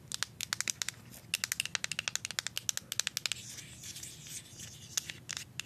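Paper clip nails tap and scratch the labeled back of a plastic deodorant stick. A rapid series of sharp, bright clicks gives way to a stretch of continuous crinkly scratching on the label, then a few more taps. The sound is dry and crackly with almost no ring.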